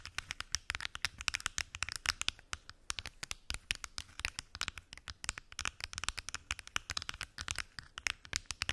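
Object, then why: Plastic pill organizer box with lidded compartments. Long acrylic nails rapidly tap and scratch on the lids of a large, hollow, translucent plastic weekly pill organizer with many small lidded compartments. The result is a dense run of sharp, bright plastic clicks with dry scratching between them, each tap dying away almost instantly with very little low end.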